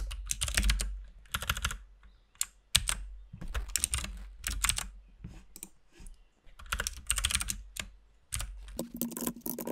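Both hands type with their fingertips on a compact RGB mechanical keyboard with white and pink plastic keycaps. Bursts of rapid, clacky keystrokes with a bright click and a low thud are broken by short pauses. A faint steady low tone joins the typing in the last second or so.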